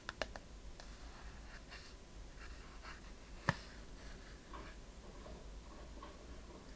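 A small, hollow, hand-held wooden chest-shaped box with a metal clasp and corner fittings is held in both hands and tapped and scratched with long painted fingernails. A few sharp, short taps, clustered at the start and one louder near the middle, stand out over soft, continuous scratching and rubbing against a low background hum.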